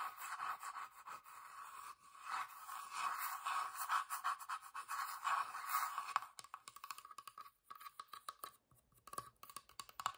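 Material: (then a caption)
Wood. Long nails scratch across the flat wooden underside of a small hollow box with felt feet and a sticker, making a steady, bright rasping. After about six seconds it breaks into quick, separate dry taps and scrapes on the wood.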